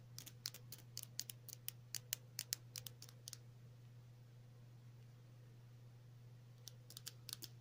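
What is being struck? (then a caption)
Small plastic tube. Long natural nails tap and scratch a small, hollow, white cylindrical plastic tube with pink print, held in the fingers. Quick, bright, dry clicks come in a fast run for about three seconds, pause, then return in a short burst near the end. A steady low hum sits underneath throughout.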